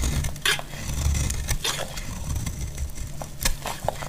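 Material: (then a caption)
Soap. A solid, dry cream bar soap is cut and scraped with a metal blade, shedding crumbly shavings. Sharp, bright scraping and crackling bursts stand out over a steady low rumble, with several short distinct cuts and a few faint ringing clicks.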